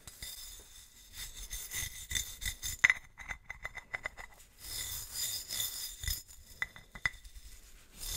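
A gloved hand brushes a wooden-handled bristle brush across the ribbed body of a large, hollow, silver metal swing-top bottle held horizontally. Bursts of bright scratchy rasping alternate with quick light tapping clicks, and a faint metallic ring sits around 2 kHz.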